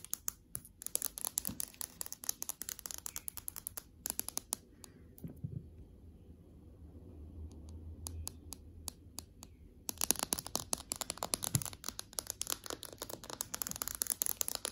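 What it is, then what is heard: Glass tablet screen tapped with nails. Long acrylic nails tap on the glass touchscreen of an iPad lying flat on a desk with its home screen showing. Rapid, bright clicking taps come in dense bursts, thin out to a few scattered clicks over a faint low hum in the middle, then return in quick succession.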